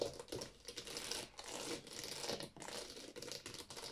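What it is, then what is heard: Plastic game cases tapped and scratched. Long painted nails rapidly tap and scratch along the spines of a row of hollow, empty plastic Wii game cases standing in a drawer. The sound is a soft, continuous stream of quick clicky taps and scratchy, crinkly rasps with a hollow plastic tone. It is bright, with almost no low end, and each tap dies away almost at once.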